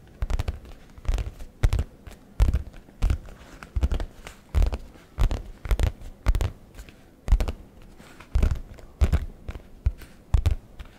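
Fingertips rapidly tap and scratch the flap of a brown leather messenger bag held close to the microphone. The sound comes as a string of short bursts of soft, low, muffled thumps mixed with scratchy rustling. The hits fade almost instantly, with quiet gaps between the bursts.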